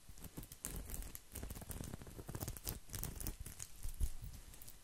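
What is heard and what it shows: A round coiled woven straw placemat is scratched with nails and fingertips, making a continuous rustling patter of quick, dry scrapes. The scratching is quiet and close, with a low, soft thump under the brighter crackle.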